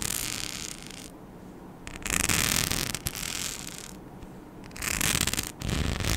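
A palm-sized, flat, flexible mic skin sheet covered in small rhinestones and cut with holes is scratched with long nails. Bright, dense scratching and rattling comes in surging bursts, with quieter stretches between them.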